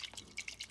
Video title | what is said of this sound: How to make Salara Guyanese style | you can hear some water shaking inside and that's when you know it's a good one